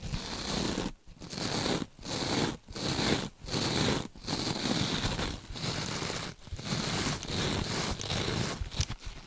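A rectangular kitchen scrub sponge with a sparkly beaded or metallic mesh surface, soft and compressible, is held in gloved hands, not touching the mic, while long pointed nails scratch and squeeze it. The result is dense, crackly scratching and crinkling strokes with a bright hiss, broken by short quiet gaps at an uneven pace.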